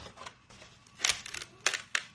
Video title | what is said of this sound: Vidéo d'activité, Peinture gonflante | Si ça craque, on a des craquements de peinture.